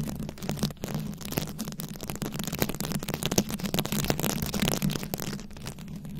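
Very long acrylic nails scratch and tap a fist-sized microphone head fully covered in small round rhinestones, likely plastic, held up close. The result is a dense, steady stream of crisp clicky scratching over a constant low hum, with quick taps that die away almost instantly.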